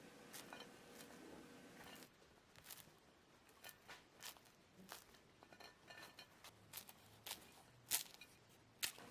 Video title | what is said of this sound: 蓬松酥脆大油条，教给你最简单快速零失败的做法 ▏Fried dough sticks & Corn egg drop soup ▏最适合家庭制作 加上玉米蛋花汤 完美早餐 ▏佳宝妈美食 | You can hear how crispy on the outside